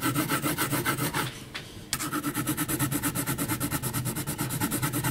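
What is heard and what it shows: A yellow HB graphite pencil makes short, rapid scratching hatch strokes across a flat, thick heavy paper sheet bearing a pencil portrait. The result is a steady, bright, raspy scratching with a brief quieter pause near the middle before the strokes resume.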